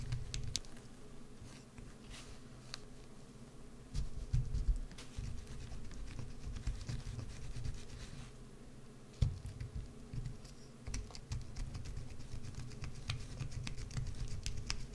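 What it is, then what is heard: Bar of soap being carved. A solid green bar of soap, held on edge, is scraped and carved with a wood-handled carving tool. Soft, low scratching and rumbling runs throughout, broken by quick, dry clicking ticks and a few louder scrapes. Fine flakes seem to patter as the blade cuts.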